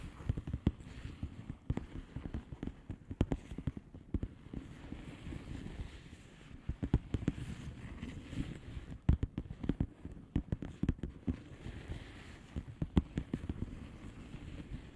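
Long painted nails on both hands tap and scratch a flat blue plastic bubble wrap envelope with air-filled bubbles. Many quick, dull, low-pitched taps follow one another in irregular clusters over a soft, continuous scratching rustle, and each tap dies away almost instantly.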